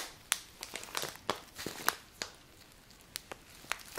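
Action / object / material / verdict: scrape / paper bag of dry grains / paper / none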